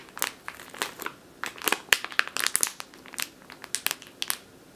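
Long nails scratch and tap a full plastic bag of flour resting on a table, then grip it. The result is crisp, bright crinkling in quick, irregular bursts with sharp ticks that stop almost instantly.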